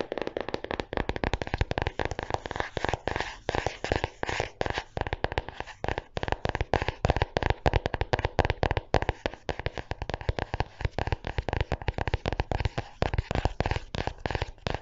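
A small closed red 2020 pocket diary with a soft faux-leather cover is held near the mic while fingernails tap and scratch its cover. Dense, rapid, crackly taps and scrapes run continuously throughout, with a strong low thump in each tap.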